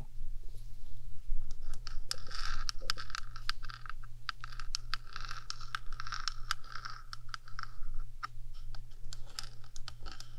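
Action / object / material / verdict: tap / small hollow metal microphone body / metal / none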